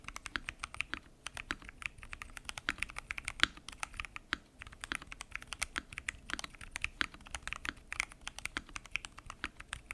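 A mechanical keyboard with a transparent acrylic case, pink and teal plastic keycaps and Gateron Brown switches is typed on rapidly with fingertips. The result is a dense, steady stream of short, bright clacks and clicks centred in the upper mids, with very little low end and each keystroke dying away almost instantly.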